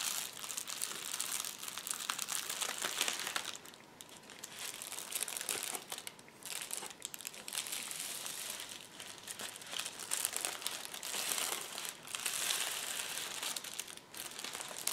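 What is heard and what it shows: Hands rub a clear plastic bubble wrap sheet and start rolling it up from the far edge, crinkling it. The crinkling is a dense, bright, steady crackle with almost no low end. It dips briefly quieter around 4, 6 and 12 seconds before picking back up.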